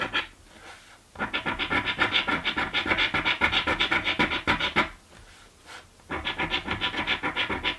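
A coin scratches the scratch-off panels of a green paper scratch lottery ticket with rapid, rhythmic back-and-forth strokes. The gritty, bright scraping comes in two long bursts, at roughly three to four strokes per second, separated by short quiet pauses.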